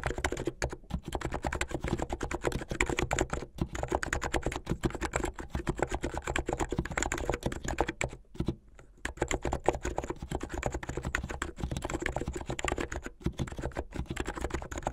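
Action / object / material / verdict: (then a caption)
tap / plastic mechanical keyboard / plastic / none. Fingertips of both hands type fast on a white and blue plastic mechanical keyboard with LED underglow. The result is a dense, continuous run of short, dry clacks with a solid low thump, broken by brief pauses around 3.5, 8.5 and 13 seconds.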